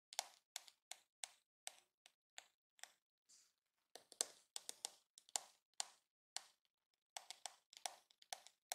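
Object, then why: Hard plastic hairbrush back. Fingertips and medium-length nails tap and scratch across the curved, glossy pink hard plastic back of a hollow-shelled, hand-sized detangling hairbrush held in the hand with its back facing up. About 26 quiet, bright, clicky taps fall in uneven clusters, with brief pauses between runs. Each tap stops almost instantly and has no low rumble.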